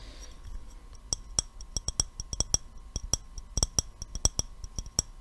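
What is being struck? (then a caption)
Glass jar with metal screw lid. An empty clear glass mason jar with a gold metal screw lid is held in the hands and tapped with the fingertips and nails. About 21 quick, sharp taps come in an uneven rhythm, each a short, bright glassy click with a faint high ring that dies away almost at once. A soft low hum runs steadily underneath.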